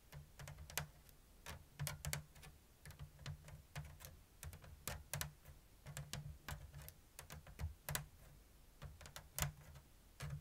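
Long blue nails tap the thin bamboo strips of a round, hollow bamboo lattice basket woven in an open diamond pattern. A steady series of short, dry, bright clicks sounds over a low, steady hum, each tap dying away almost at once.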